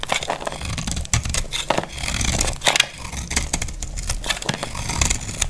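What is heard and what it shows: A utility knife blade scrapes and chips crumbly flakes off a solid, dry, cream-white Lux bar soap, making dry crackling scrapes with sharp bright clicks over a low rumble.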